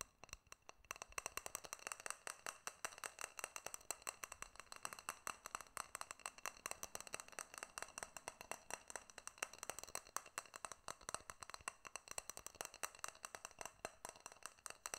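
A small glass jar with a silver metal lid is held in both hands while fingertips and nails tap rapidly on the glass body and the lid. The result is a quiet, steady stream of short, bright clicks and taps with almost no low end, each dying away instantly, with a faint ring around 1.1 kHz.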